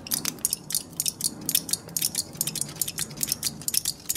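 A thin, crumpled sheet of aluminum foil held in both hands is crinkled, squeezed and scratched with the fingertips. The result is a quick run of sharp, bright crackles and rustles, each dying away almost at once, with a faint low hum underneath.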